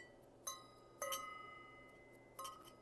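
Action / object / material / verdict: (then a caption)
strike / bell metal worship item / bell metal / none. A bell metal worship item is struck four times, giving bright, clear metallic rings with a high tone around 1.3 kHz that sustains between strikes. It rings clearly, in contrast to brass, which does not ring like that.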